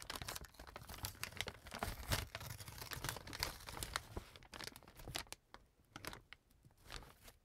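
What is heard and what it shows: An opened, empty brown kraft paper bag on a table is crumpled and handled by hand. Dense, papery crinkling and crackling fills the first half, with a low thump underneath, then thins into sparser, softer crinkles and rustles toward the end.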